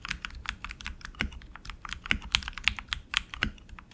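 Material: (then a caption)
Plastic. A tenkeyless RGB mechanical keyboard with black plastic keycaps on an aluminum frame and lubed tactile switches is typed on continuously with the fingertips of both hands. The result is a steady stream of short, bright keystroke clicks and clacks, with some heavier presses adding a low thock.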